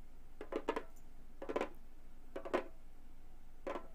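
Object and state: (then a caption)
Synthetic-head frame drum. Long gold metal claw nails tap the upper edge and center of the synthetic head on a hollow Remo frame drum. The taps come in four quick, irregular clusters of dry, short clicks with a hollow mid-pitched tone and a touch of bright edge. They die away almost instantly against a quiet background.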